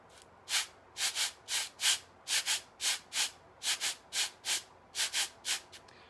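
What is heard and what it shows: A pair of small, solid wooden sand blocks, each faced with red sandpaper, are held in both hands and rubbed face to face. About fifteen short, bright, hissing scrapes follow one another in a loose rhythm, some coming in quick pairs. There is almost no low end.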